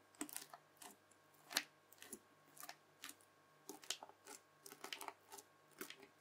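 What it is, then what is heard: Bubble slime pressed with a fork. A red bubbly slime disc is pressed again and again with the tines of a white plastic fork. Each press gives a short, bright, crackly popping burst at an irregular pace. A faint steady hum sits underneath.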